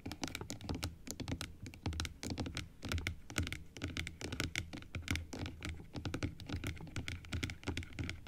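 Long acrylic nails tap and scratch along the rows of plastic teeth on an open plastic typodont dental model. Rapid, irregular clicks with bright edges sit over dull, low thunks and faint scraping, with each tap dying away almost at once.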